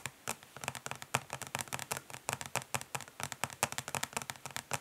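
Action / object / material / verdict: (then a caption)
tap / plastic eyeshadow palette / plastic / none. Long nails of both hands tap fast on a flat, rectangular, hollow plastic eyeshadow palette lying face down on a grey surface. About thirty quick, dry, bright clicks come in an uneven stream, each dying away almost at once over a faint hollow low body.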